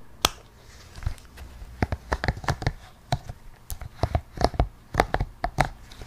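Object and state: Silicone pop it fidget toy.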